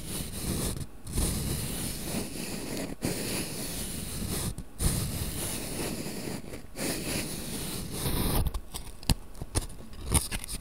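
A small printed cardboard matchbox full of wooden matches is held in both hands while its drawer is slid in and out with the fingers. Long, dry, low scraping rustles run almost continuously, broken by a few brief pauses. Near the end they give way to quieter sliding and several short, sharp clicks.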